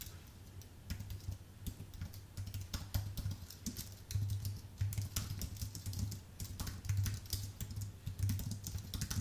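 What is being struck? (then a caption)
Plastic keycaps on an aluminium keyboard. A white full-size Apple Magic Keyboard, with plastic keycaps on an aluminium base, is typed on with the fingertips of both hands. Rapid, bright, short key clicks run in uneven bursts over a steady low hum.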